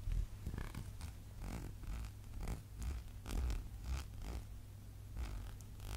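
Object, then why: Small glass candle jar with a paper label. A small labeled glass candle jar is held and turned in the hands while fingernails scratch and tap its glass side and label. Soft, quiet scratching and light taps repeat over a steady low hum.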